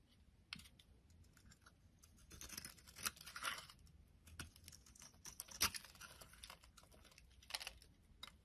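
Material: Soap.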